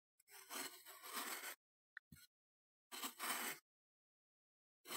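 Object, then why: Kinetic sand slab scraped by a metal knife blade. A metal knife blade held in the fingers scrapes and shaves across a flattened mound of solid, moldable green kinetic sand on a wooden chopping board. Long, bright, gritty scraping strokes are broken by a short tick and a brief scrape, then another long stroke, with a final scrape starting at the end.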